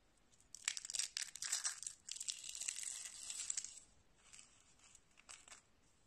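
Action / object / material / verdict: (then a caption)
scrape / rolled soap shavings / soap / none. A small hollow spiral roll of thin, cream-coloured dry soap shavings is squeezed and crushed between fingertips with dark painted nails, with other rolls lying on a wooden table. Dense, crisp, bright crunching and crackling builds quickly and stays loud for about three seconds, with almost no low end. It then thins out into softer, scattered crinkles as the roll breaks apart.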